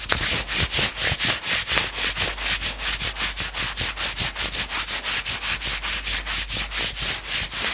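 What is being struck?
Knit fabric sweatshirt sleeve.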